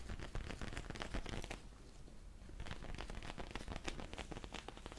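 A small, soft, squishy black cushion with a faux leather or vinyl surface is held up in both hands and scratched and squeezed with fingernails and fingertips. Quick crinkly, crackling scratches with a low, thumping body come in dense bursts, easing into a softer, quieter stretch around the middle before picking up again.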